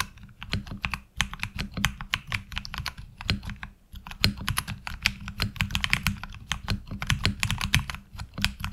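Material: ABS plastic.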